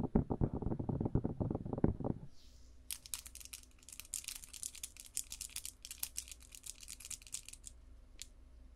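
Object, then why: Silicone binaural microphone ears. Long blue acrylic nails with rhinestones tap and scratch directly on the two hollow, cup-shaped white silicone ears of a binaural microphone held in both hands. For the first two seconds, rapid, dense taps land as loud, low, muffled thumps. The sound then gives way to quieter, brighter scratching strokes over a faint steady hum.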